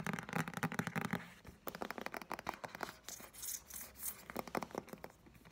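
Fingertips and nails tap and scratch along the spine and edge of a medium-sized green paperback novel with a card cover and a solid paper block, held in the hand. Quick bursts of dry, papery taps and scratchy rasps come in clusters at a low level, each one dying away almost at once.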